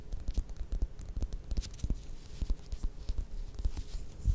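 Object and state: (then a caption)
Orange, tapped and scratched with nails. Long red nails scratch and tap all around the textured peel of a small whole orange or mandarin held up in both hands. A quick, uneven run of soft, dull thuds and light scratchy rustles, mostly low and muffled, each dying away almost at once.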